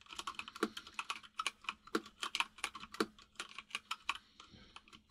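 A full-size mechanical keyboard with white and grey plastic keycaps and a hollow case is typed on with the fingertips of both hands. About 28 quick, bright plastic clicks and clacks follow in a steady, uneven stream, with a few heavier thocks from larger keys. Each tap dies away almost at once.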